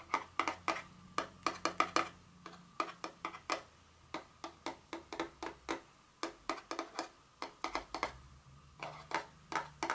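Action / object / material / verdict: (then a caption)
tap / small cardboard box / cardboard / none. Very long fingernails tap and scratch a small, hollow, blue printed cardboard Dior fragrance box lying on its side. About thirty-four quick, dry taps come in uneven bursts, each with a short hollow knock around 1.2 kHz and a bright click that dies away almost at once. A faint low hum sits underneath.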